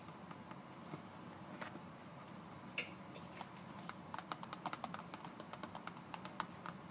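A closed, thin paperboard Colgate toothpaste carton, about 20 cm long, is turned over while fingertips tap and scratch along its printed surface. Quiet, dry scratching runs under a scattered series of short, sharp taps that grow more frequent toward the end, each dying away almost at once.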